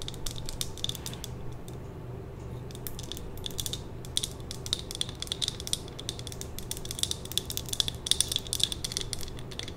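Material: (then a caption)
Glass. Long nails tap and scratch a small lit glass jar candle filled with red wax, held in the hand. A dense run of quick, bright clicks and scratchy ticks crowds the clip, most busily in the second half, over a steady low hum.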